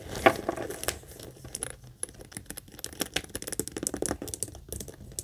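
Long acrylic nails quickly scratch and tap the front panel of a small, hollow monogram coated-canvas mini backpack. The result is a dense run of crisp, bright clicks and scratchy rasps, with a louder tap near the start.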